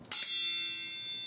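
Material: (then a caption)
Steel. A hammer taps a steel railway carriage wheel in the traditional pre-departure wheel-tapping check, where a change in the note would reveal a fracture. The strike gives a bright, bell-like clang centred near 3.5 kHz, with almost no low end, and it rings on steadily for over a second.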